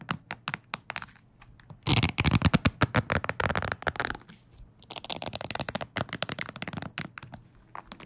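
A wooden hair brush with bristles, held horizontally, has its bristles scratched and flicked with fingertips. Quick, dry ticks and crackly scratches come in an irregular stream, with a louder, denser burst of flicking in the middle and softer scattered flicks before and after.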